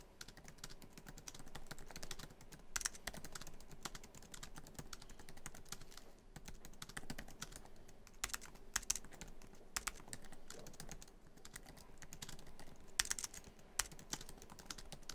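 Fingertips of both hands type quickly across many keys of a MacBook Pro keyboard, its black plastic keys set in a hollow silver aluminum laptop body. The result is a dense, steady stream of short, dry clicks and taps with bright edges, and a few sharper, louder key strikes stand out along the way.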